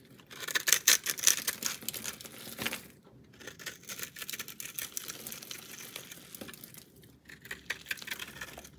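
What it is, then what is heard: Bar of soap being cut. A utility knife blade shaves and cuts into the surface of a palm-sized solid orange bar of soap, pre-scored with a cube pattern on one face and held in one hand. Bright, dry scraping and crunchy cutting come in bursts, with brief pauses near 3 and 7 seconds.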